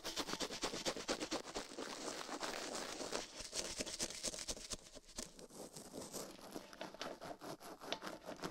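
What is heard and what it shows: Toothbrush bristles scrub fast over a silicone ear microphone on a metal mount while a gloved hand rests still. The result is a dense, bright scratching and brushing texture of rapid, slightly irregular strokes, about two per second, with short crackly bursts and little low end.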